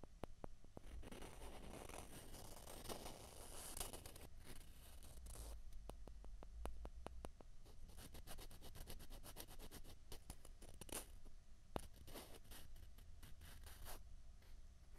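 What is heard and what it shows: Two small, hollow white plastic ping pong balls are rubbed together by fingertips, making soft, dry scraping sounds. In the second half the rubbing turns into a run of quick, sharp clicks that die away almost at once. The whole clip is quiet, with a steady low hum underneath.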